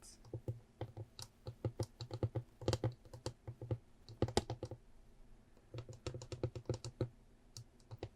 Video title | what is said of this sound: ASMR Beautiful Things Trigger Assortment ~ slow tapping & scratching ~ woodland theme 🌳🦋🍄 | it's got such a um complex sound I think it's both high pitched and low pitched at the same time